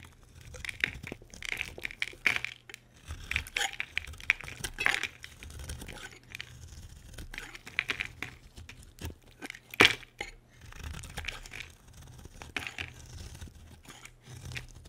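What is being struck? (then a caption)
Bar of soap scraped with a knife blade. A solid white oval bar of soap is held in the hand and carved by scraping it with a utility knife blade. Dry, bright scraping and crumbly crackling strokes come in quick bursts throughout, with a few sharper clicks. A faint low hum sits underneath.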